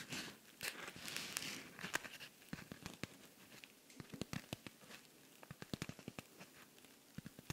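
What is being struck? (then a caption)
Rhinestone-covered cosmetic pouch. Fingernails scratch across the surface of a silver rhinestone-covered cosmetic pouch held close to the microphone. A bright, dense scratching rasp comes first, then gives way to quick, dry clicks and ticks as the nails catch on the stones, with very little ring after each one.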